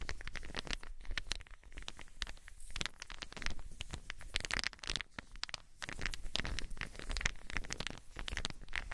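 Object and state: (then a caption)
Wooden balls. Small solid wooden balls are cupped between long-nailed hands, then rubbed and shaken together. The result is a dense, continuous run of quick, dry clicks and clacks with bright edges over a soft, low rumble. The clacks come in irregular bursts for the full nine seconds.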